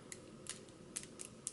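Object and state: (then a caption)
Enamel bangle bracelets clacking together. Two Hermès Clic H enamel bangle bracelets with silver-tone metal hardware, one in Candied Chestnut in the GM size, are worn side by side and clacked together. About six light, quick, high-pitched clicks sound over a quiet background, each dying away almost instantly, with no loud or tinny ring.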